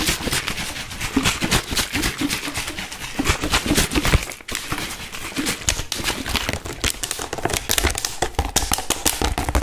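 An empty, hollow clear plastic water bottle with a green cap and label is held in both hands and squeezed and crinkled by the fingers. It makes a dense run of sharp crackles and pops across a broad, bright range, with a brief quieter dip near the middle.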